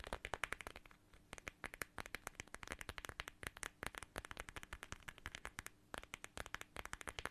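A small, flat, transparent plastic watermelon-shaped pouch filled with red gel beads is scratched and tapped with long nails. A rapid stream of crisp, bright clicks and crackly scratches is heard, each hit very short and dry with almost no ring, over a soft, low background.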